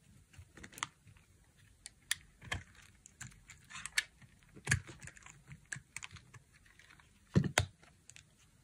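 A dry, solid light blue bar of soap is held in the hand and carved into flakes with a utility knife blade. Short, crisp scraping cuts and clicks come at an irregular pace, each with a bright edge and a soft low thud, and they stop quickly with almost no ring. Two louder cuts near the end stand out.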